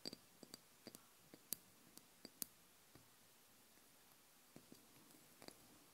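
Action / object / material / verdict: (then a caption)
tap / small glass oil bottle with liquid / glass / none. Long blue nails tap on the glass body of a small amber glass oil bottle with a black cap, filled with liquid. The sound is a series of quiet, sharp, bright clicks that stop instantly, coming in an irregular rhythm with a short lull in the middle.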